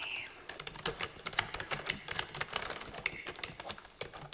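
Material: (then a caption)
Plastic. Fingertips and long dark-painted nail tips type and tap on a black full-size computer keyboard with plastic keycaps and a hollow body, lying flat in a dim room. A steady run of quick, bright plastic clicks and clacks is heard, each dying out almost at once, with very little low end.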